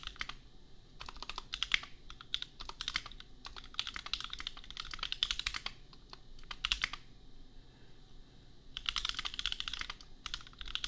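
Fingertips type in quick bursts on a compact $250 custom mechanical keyboard with Gateron Milky Yellow switches and red and pink plastic keycaps. The keystrokes are short, bright plastic clacks with almost no ring. There is a brief pause near the end before a final flurry of typing.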